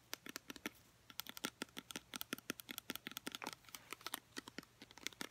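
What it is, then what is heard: Plastic conditioner bottle. A filled, travel-size Herbal Essences conditioner in a teal plastic squeeze bottle with a black cap is tapped with long painted nails. Thirty-two quick, light, clicky taps come in an uneven, rapid run, each bright and crisp and dying away almost at once.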